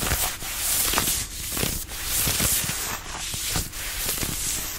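Fingertips rub and scratch a fitted denim dress being worn, working at the waist and sides. A steady, rough scratching hiss rich in bright high frequencies continues throughout, with soft low thumps beneath and the level staying fairly even.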